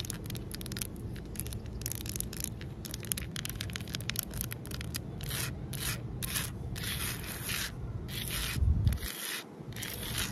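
Long nails scratch and rub across a large, solid outdoor concrete ledge. The result is a run of dry, bright scraping strokes over a low, steady rumble, rising toward the end before briefly dropping away.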